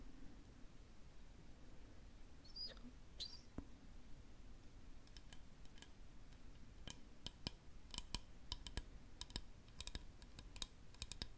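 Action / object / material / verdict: tap / lacquered wooden spoon / lacquered wood / none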